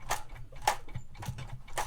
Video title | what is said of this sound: LEGO Star Wars Imperial Light Cruiser Review #75315 #lego #afol #legostarwars #themandalorian | you can hear the front opening from where I'm shaking it